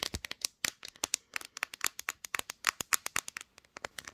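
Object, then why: Smartphone with glass back. Long green nails tap quickly and scratch the glossy pink glass back of a smartphone held in a tripod clamp. A rapid run of sharp, bright, dry clicks and light scratches with almost no low end, each tap stopping at once without ringing.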